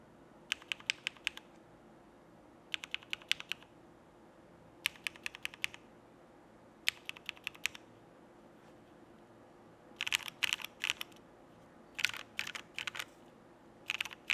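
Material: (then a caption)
Plastic. A Frog mechanical keyboard with cream XMI plastic keycaps, Cherry Black switches and an aluminum plate is typed on with sparse fingertip presses, first with one hand and then with both hands. Short groups of crisp, bright clacks die away instantly, about 41 in all. The later bursts come denser and louder over a quiet, steady background.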